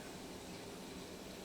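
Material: Nothing is struck.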